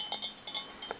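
A cut-crystal basket bowl with a scalloped handle is tapped four times. Each tap gives a light, bright clink that rings out briefly at a high pitch, and the bowl rings clearly the way crystal should.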